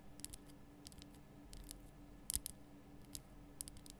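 Long nails tap the lower sides of a large lit pink Himalayan rock-salt lamp, a solid rough crystal block. The clip is quiet, with a scattered series of short, dry, bright clicks and scratchy ticks that stop almost instantly, over a faint steady low hum.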